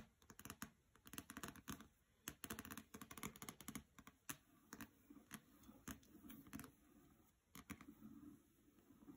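Long nails tap and scratch the glossy paper dust jacket of the hardcover novel "Graceling" as it rests on a carpet. Quick, dry clicking taps come in irregular bursts, mixed with a soft, bright scratching rustle. Each tap dies away almost instantly.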